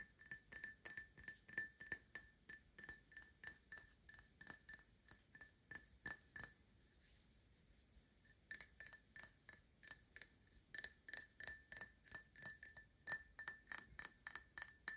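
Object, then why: Glass drinking tumbler. An empty printed glass tumbler, a Paladone Mario Kart glass, is turned sideways in the hands and tapped with short nails. Quick, uneven clinks ring with a short, bright tone near 1.8 kHz, with a brief quiet pause in the middle before the tapping resumes.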